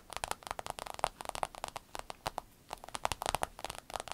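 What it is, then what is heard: Vinyl waist bag tapped and scratched with nails. Long pointed acrylic nails on both hands tap and scratch the glossy surface of a rainbow holographic vinyl fanny pack lying flat, soft and hollow. The result is a quick, irregular patter of light, dry clicks with a midrange plastic tone and bright crackly edges, each dying away almost instantly, with a brief pause midway.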